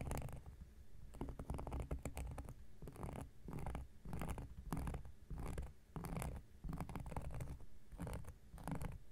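An x-acto knife blade is scratched across a large, round, flat coaster of solid cork lying on a surface. Repeated rough, dry scraping strokes come in quick bursts with a low, rumbling body and brief brighter edges, separated by short quiet gaps.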